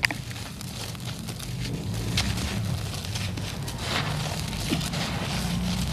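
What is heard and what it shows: A large, solid, dry clump of red soil is crushed and rubbed apart by the fingers of both hands, and powdery dirt pours down. A steady, gritty crumbling hiss runs throughout over a low rumble, with sharp, bright crackles popping through as the clod breaks.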